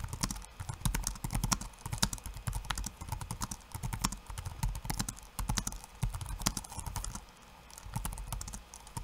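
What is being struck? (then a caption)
Laptop keyboard with plastic keycaps. Fingertips of one hand type in rapid bursts on a backlit laptop keyboard with plastic keycaps. The result is dense, quick clicks and taps with a soft low thump beneath bright, dry key strikes that stop almost instantly. The typing briefly quiets just past the seven-second mark before resuming.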